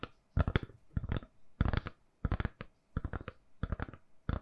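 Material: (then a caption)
Silicone. A smartphone in a lilac-purple soft silicone case is held in both hands and tapped with long nails. Quick clusters of soft, dull, low taps with brief clicky edges come in irregular bursts, each dying away instantly with no ring.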